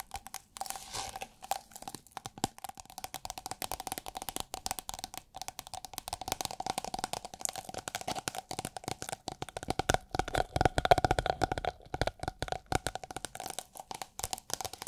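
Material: Plastic film.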